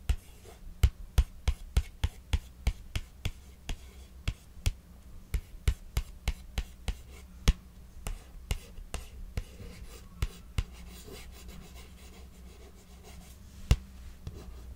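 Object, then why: Paperback book card cover. Long acrylic nails tap and trace across the glossy card front cover of the paperback novel "How to Fake It in Hollywood," a solid book lying flat on a knitted blanket. About 28 short, dry clicks ring out, dense at first and thinning toward the end. Softer scratchy tracing and a steady low hum sit beneath them.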